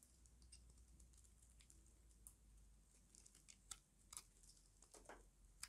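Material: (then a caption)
Soap. A small metal blade carves and scrapes a solid rectangular bar of dry white soap held in the hand. Quiet, irregular crunchy scrapes and crisp bright clicks come at an uneven pace, with a few sharper snaps standing out over a steady low hum.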